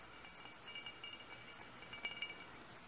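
Fingernails tap on a large, hollow, pressed cut-glass lamp base with a metal foot and textured glass. The taps give quiet, bright clinks with short ringing tones around 2.3 kHz over a low background hiss, with the sharpest tap near the end.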